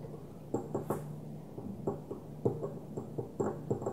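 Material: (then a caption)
Glass. A small opaque white glass perfume bottle with a plastic cap, lying on its side on a dark table, is tapped with the long natural nails of both hands. The result is a series of short, dry, irregular clicking taps with a mid-pitched, hollow tone that dies away almost instantly, over a soft low background hum.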